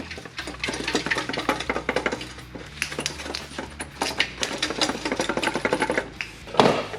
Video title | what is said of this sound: Cheap exhaust upgrade on the IS300 (Lexus ebay special!) | shake this thing around so you can hear it whatever's inside that cat's completely dead